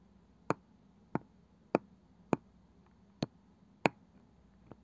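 Long nails and fingertips tap on the light wooden lid of a small, apparently hollow, round box with a woven cane side. Six sharp, dry taps with almost no ring sound at roughly even intervals, followed by a faint seventh, over a quiet background.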